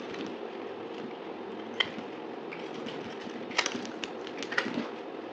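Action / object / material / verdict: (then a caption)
scrape / bar of soap cut with a knife blade / soap / none. A utility knife blade cuts and scrapes a dried, solid pink soap bar held in the hand, breaking it into chunks. A steady, dry scraping rasp runs throughout, broken by a few sharp, bright snaps as chunks crack off.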